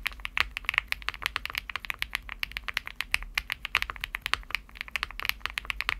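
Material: Aluminum, plastic.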